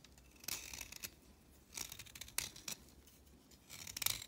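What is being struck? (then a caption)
Chalk stick shaved by a blade. A blade shaves the tip of a solid orange chalk stick to a point, producing short, bright, dry scraping strokes in irregular bursts with brief pauses between them. The sound is mostly high-frequency hiss, centered around 3.7 kHz, with almost no low end and no lingering ring.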